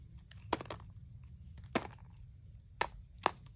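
A metal knife carves and shaves crunchy curls from a small, solid green bar of dry Coast soap with a painted surface, held in one hand, with shavings scattered below. Short, sharp, dry crackling cuts stand out at irregular intervals over a faint low rumble. Each crunch is bright and centred around 1 kHz and stops almost instantly.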